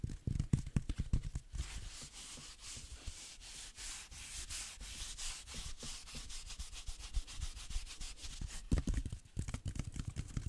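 A hand-sized green velvet-flocked reindeer figurine with a rigid core is held upright and rubbed and scratched with the fingertips along its velvet body. Quick, dense scratching strokes give soft, low thuds at the start and end, with a steady bright, hissy rubbing in between.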